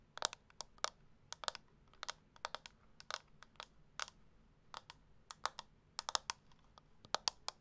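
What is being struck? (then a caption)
Small plastic makeup compact. Long acrylic nails tap and scratch a small round beige-pink plastic makeup compact. About two dozen quick, sharp, bright clicks come in irregular bursts with almost no ring, over a very quiet background.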